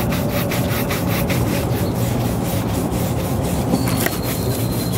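A brown leather ankle boot, worn on a foot at an outdoor shoe-shine stand, is brushed back and forth with a wooden-backed horsehair shoe brush held in the hand. Steady, dense rubbing strokes carry a low, full body with bright bristle swishes repeating throughout. A faint high tone enters near the end.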